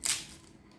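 A baked eggplant and vegetable rose börek, made with ready filo sheets and brushed with olive oil, is broken by hand. It gives a single short, bright, crackling crunch that fades within a fraction of a second. The pastry is very crispy because of the olive oil.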